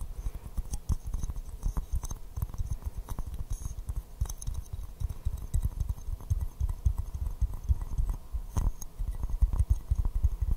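A small white floral porcelain teacup, hollow and empty, is held upside down in both hands and tapped with fingertips and nails. The result is a steady, dense patter of soft, dull taps with a low thumpy body and faint bright clicks. Each tap dies away almost instantly.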